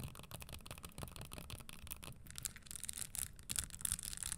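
Long nails brush and scratch across the studded surface of a red spiked leather Christian Louboutin stiletto pump held upright. The sound is a quiet, dense rustle of scraping with a low rumble underneath. Sharper, brighter ticks and scratches pick up toward the end.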